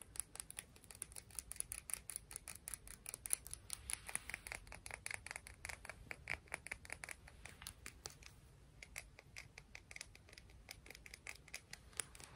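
A piece of coral is tapped and scratched in a quick, steady run of dozens of short, crisp clicks with a light scratchy texture between them. The sound is bright and mostly high-pitched, and each tap dies away almost instantly.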